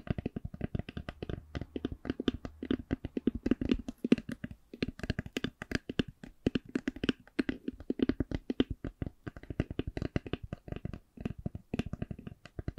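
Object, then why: Eyeglass case. An eyeglass case is tapped slowly and steadily, giving a long run of about 80 short, dry taps. Each tap is a soft, low knock centered near 250 Hz, with little ring and only a faint bright edge.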